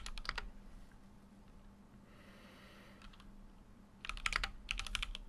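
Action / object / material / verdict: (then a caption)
tap / mechanical keyboard with aluminium case and plastic keycaps / plastic, aluminium / none. Fingertips type on a full-size Keychron Q6 mechanical keyboard with an aluminum case and plastic keycaps. A quick run of sharp, bright key clacks opens the clip, then it goes quiet apart from a faint hiss, a steady low hum and a few soft taps. Dense typing picks up again near the end.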